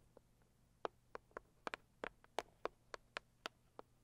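Long acrylic nails tap the lid of a medium, hollow, closed pink floral cardboard gift box. About a dozen quiet, dry, hollow clicks arrive at an uneven pace, each dying away almost instantly with a papery mid-range tone and a bright edge. A faint low hum sits underneath throughout.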